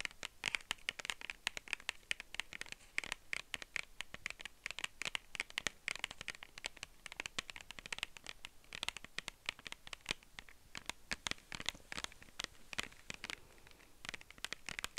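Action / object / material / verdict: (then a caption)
tap / small clear plastic case / plastic / none. Long nails rapidly tap and scratch the surface of a small, hollow, clear plastic case held in both hands close to a fluffy microphone. The result is a dense stream of sharp, dry clicks and scrapes that are bright and high-pitched, with no ring after each tap and a thin bed of soft background hiss.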